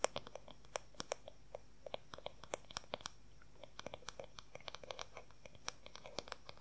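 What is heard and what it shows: Long fingernails quickly tap and scratch the large oval wooden back of a paddle hair brush, making about forty short, dry clicks with a woody tone near 560 Hz and a bright edge. Each tap dies away almost at once, with faint scratching between the quiet, irregular taps.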